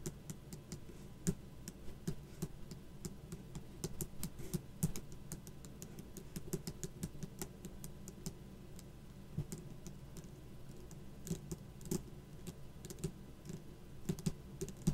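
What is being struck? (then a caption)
Raised plastic stickers on a cardboard backing. Long black acrylic nails of both hands tap and scratch across raised plastic skull stickers on a cardboard sticker card lying flat on a table. The result is a steady stream of quick, dry clicks and taps over a low, soft scratching bed, with the clicks arriving too densely to count.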